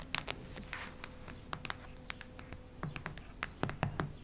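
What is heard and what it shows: Long red nails scratch and tap a solid cactus-print hardcover notebook. Dry, sharp clicks and brief scratches come in an irregular series, each cutting off instantly with no ring, over a soft low rumble and a faint steady hum.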